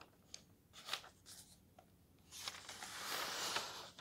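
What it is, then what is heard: Thin paper guidebook pages being turned. Fingertips slide across and turn the thin glossy paper pages of a thick softcover guidebook lying open on a desk. Quiet, bright paper ticks and short swishes come first, then a broader, steady high rustle builds and lasts until the page settles at the end.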